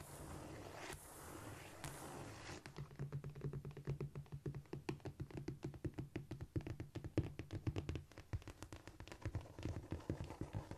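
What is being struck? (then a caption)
Cork floor. Long painted nails scratch and tap with both hands on a flat, solid cork floor. The first few seconds are a soft, hissing scratching sweep, then a rapid, uneven run of dozens of dry, dull taps with a low thud and almost no ring. Scratching continues quietly beneath the taps until the end.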